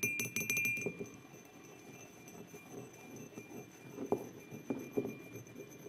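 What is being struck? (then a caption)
Empty ceramic mug. Fingertips with short nails tap the sides of an empty white ceramic mug with an orange and yellow print, standing on a wooden table, with both hands, and the fingers also grip and rub it. A quick flurry of bright, clinking taps opens the clip, followed by quieter scratchy rubbing and a few scattered sharper taps near the end. The taps are short, dry clicks with little ring and a faint glassy tone around 400 Hz.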